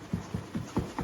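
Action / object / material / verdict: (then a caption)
shake / cardboard box packed with glasses and dishes / cardboard / tight. A cardboard moving box packed with glasses and dishes is shaken, giving five dull, low muffled thuds with no clinking of glass. The silence of the contents shows they are packed tightly enough not to break.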